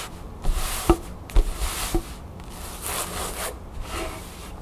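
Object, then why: Cotton canvas fabric bag. Long nails tap and scratch a cream cotton canvas bag with a blue crown print, held upright in the hands. A handful of soft, hollow taps come through between bright, rasping scratches that swell and fade across the fabric.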